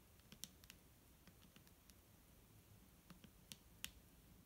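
A clear, hollow plastic micellar water bottle containing liquid is held in the hand and tapped with long nails. The result is a quiet, irregular series of short, sharp, bright clicks that stop almost instantly with no ring, some louder than others, over a soft low background hum.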